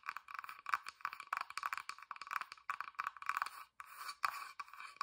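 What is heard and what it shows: Long dark nails tap and scratch quickly across the flat, whitewashed bottom panel of a small hollow wooden box that has a sticker and small feet. The result is a dense run of short, dry clicks and scratchy rasps centered around 1.1 kHz, with bright edges and almost no low end. Each sound dies away almost instantly, with brief pauses between flurries.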